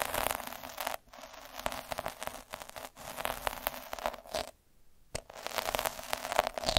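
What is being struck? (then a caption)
Felt sheet rolled with a metal-needle roller. A metal-needle roller held by the fingertips is rolled over a soft, flat red felt square. It makes a dense, crackly scratching with a steady mid-pitched edge, broken by brief pauses, including a near-silent gap before the rolling resumes.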